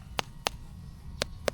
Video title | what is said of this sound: Sunday Harvest + Family Time 🍃 - Fresh Langka at Highview Hacienda | Ganyan mo lang, pitikin mo lang. Pag tunog, tambol na siya.